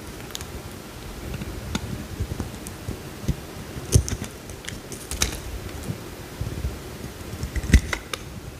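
A metal utility knife blade scrapes and carves a small solid cream bar of soap, with curls peeling off. Soft, low scraping rustles run throughout, broken by sharp, brief clicks and crisp snaps as the blade cuts in, the loudest near the middle and toward the end.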